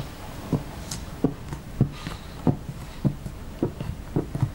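A thin metal knife or spatula, held in fingers with long painted nails, is drawn through a large flat spread of soft, pale yellow clay-based butter slime lying on a light blue mat, scoring and scratching lines into the pliable mass. About nine soft, dull, low scraping thuds sound at an uneven pace, each dying away almost at once over a quiet background.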